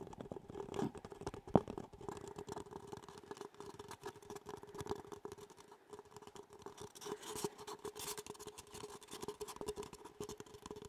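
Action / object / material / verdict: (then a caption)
scrape / disposable paper cup / paper / none. An empty, hollow disposable paper cup with a chocolate donut print is held in both hands and tapped and scratched on its outer wall with long fingernails. Quiet, rapid papery taps and scratches run continuously over a faint hollow tone, with one sharper, louder tap early on.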